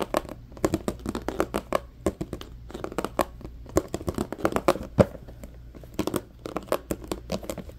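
Fingertips and nails scratch and tap on an empty, hollow, medium-sized transparent plastic compartment organizer box. The result is a dense run of short, dry clicks and scratchy rasps with a light hollow plastic knock, over a faint low hum.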